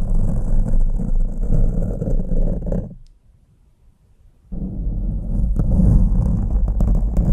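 Two green plastic forks, held by fingers, are scratched and raked with their tines over a black foam windscreen on a microphone. This makes a dense, deep, rumbling scrape with faint high hiss. The scratching stops for about a second and a half of near silence, then resumes just as loud.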